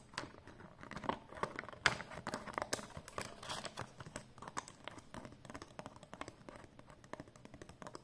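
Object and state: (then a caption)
Paper banknote. A folded 20 euro banknote of thin, flat cotton paper is held and handled while long painted nails tap and rub it. Quick, dry ticks and papery crinkles come in a dense, uneven stream, with a few sharper taps near the start. The sound is quiet, crisp and bright with almost no ring.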